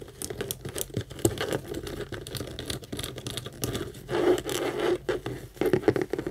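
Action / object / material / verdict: tap / structured saffiano leather handbag / leather / none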